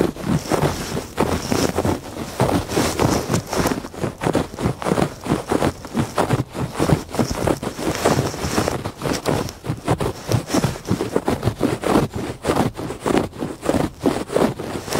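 Fingertips and nails scratch back and forth across a woven textile rug, producing a continuous stream of rapid, rough rasping strokes. The scratches are dry and papery, weighted toward the low and middle range with a faint high hiss. The texture stays steady and irregularly paced throughout.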